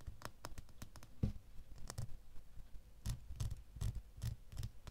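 A small solid metal door key, held in both hands, is scratched with fingernails along its blade and bow. The result is quiet, irregular scratching with sharp, bright ticks over soft low thumps, each dying away almost at once.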